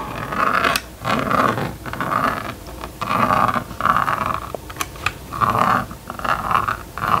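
A plastic stylus on a yellow string is scratched and dragged across the screen of a small red and yellow plastic magnetic drawing board lying flat on a table, drawing lines. It makes a series of scratchy, rasping strokes about a second long, each carrying a steady mid-pitched hiss with brief bright clicks between them.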